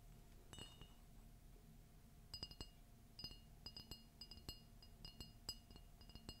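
A large, red, glossy ceramic Disney mug with a Mickey and Minnie Christmas-tree print, hollow and empty, is held in one hand and tapped and scratched on its outer wall with long fingernails. A few bright, glassy clinks are followed after a pause by a quicker run of sharp taps, each with a short, high ring that dies away almost at once. Faint scratching and a steady low hum sit underneath.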